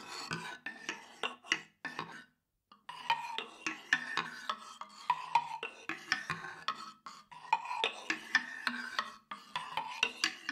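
A thin wooden stick is rubbed and scraped across a light wooden instrument made of vertical slats around a hollow center, held by its handle. It makes dry, rattling, clicky bursts with bright woody tones and almost no low end, broken by a short silence near the third second before the scraping resumes.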